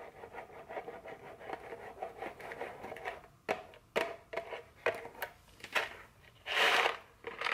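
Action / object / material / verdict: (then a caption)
tap / small cardboard chocolate box / cardboard / none. A small printed cardboard chocolate candy box, likely full, is tapped and scratched with very long fingernails, first resting on a table and then held, and possibly shaken. A steady papery scratching runs through the first few seconds, then gives way to a series of sharp, dry taps. A louder, bright rustling burst comes near the end.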